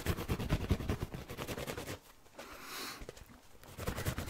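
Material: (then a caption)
Foam. A yellow, palm-sized foam kitchen sponge with a green abrasive scouring layer is held in both hands and scratched fast and roughly with fingernails and fingertips. Dense, low, rustling scratch bursts fill the first two seconds, drop to a quieter, brighter hiss in the middle, then return in loud, rough scratches at the end.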